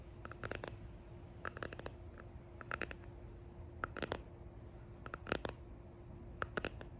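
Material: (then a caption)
Resin. A small clear resin hexagon box with pressed leaves and flowers inside, held close, is tapped and clicked with fingertips and long painted nails. Short, dry clicks come in clustered bursts over a low, steady background hum, each tap dying away almost instantly.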